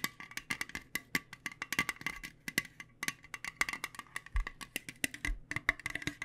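Long nails tap rapidly and unevenly on a small, round, printed metal Spot it! card game tin that holds cards. Each tap is a short, bright metallic click with a ring near 2 kHz that dies away almost instantly, and the taps keep coming in dense bursts for the whole clip.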